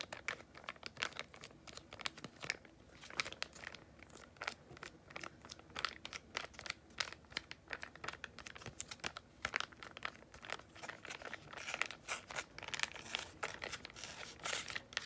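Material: Foil laminate.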